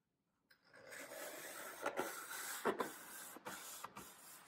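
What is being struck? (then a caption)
Green floral foam block cut with a small knife. A small knife slices grid cuts into a solid green floral foam brick held upright in a palm. After a short silence, a steady dry, scratchy rasp builds, punctuated by about seven louder crunchy snaps as the blade cuts through. The sound sits mostly in the mids with a thin bright hiss on top.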